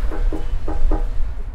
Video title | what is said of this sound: MIASTO ODNOWA - odcinek 1 - #Łódź ul. Włókiennicza - [8 subtitles] | It looks full, and heavy but it's empty and light.